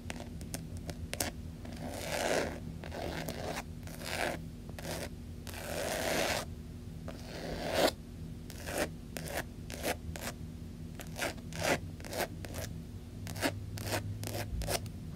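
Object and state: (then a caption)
Faux leather wallet. Long nails tap and scratch the surface of a closed black pebbled faux leather long wallet lying on carpet. Sharp, quick taps are mixed with longer, bright, raspy scratching strokes that swell and fade, over a faint steady low hum.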